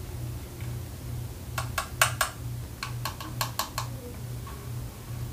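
Long nails tap and scratch the yellow button face and ridged panels of a small, hollow, multicolored plastic fidget cube. About ten sharp, bright plastic clicks with a hollow ring near 1.1 kHz come in an uneven cluster in the middle of the clip. A steady low hum runs underneath throughout.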